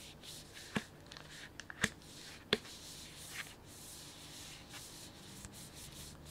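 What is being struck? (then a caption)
Plastic snack bag filled with sunflower seeds. Fingertips and a palm rub and squeeze the surface of a medium printed plastic snack bag with a kraft-paper look, full of sunflower seeds. A soft, steady bright crinkling hiss runs throughout, broken by a few sharp, short crackles where the plastic snaps.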